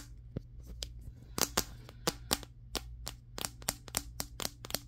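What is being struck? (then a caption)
Smartphone with glass back. A handheld, solid Samsung Galaxy S23 phone with a matte glass back is tapped rapidly across its back with the fingertips of both hands. About fifteen sharp, bright, clicky taps stand apart, each dying out almost instantly, over a faint steady low hum.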